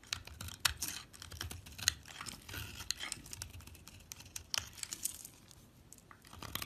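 A solid orange soap bar held between the fingers is scraped and shaved with a metal utility knife blade over a pile of shavings. The clip is a dense run of crisp, dry, bright scraping and rasping strokes with short, sharp peaks. Underneath sits a faint low rumble.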